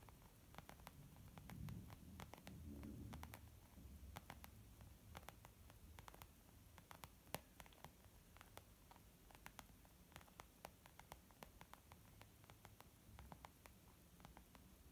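Long almond-shaped nails tap on a small white textured leather zip makeup bag lying flat, which is soft and hollow. The taps are quiet, rapid and irregular, with short bright clicks over a low, muffled thud. Brief rustling swells come in near the start.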